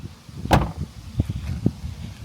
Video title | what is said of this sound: New 2024 Tesla Model 3 Performance VS Old Model 3 Performance! | it's just got a nice thud just a very nice thud that's super nice